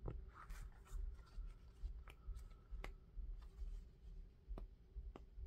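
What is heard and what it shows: An orange knit mesh sneaker with a rubber sole is turned in the hands while fingertips tap the sole and scratch the knit upper. Quiet, scattered sharp taps and soft scratching rustles sit over a steady low rumble.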